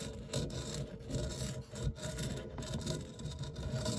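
A white silicone spatula scrapes and rubs the textured, crumb-strewn base of an empty round non-stick metal tart tin with a fluted rim. The result is a steady, soft, dull scraping and rubbing sound with a muffled, low-heavy tone and only faint brightness on top.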